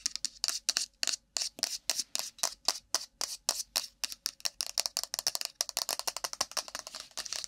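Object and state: Cardboard phone box.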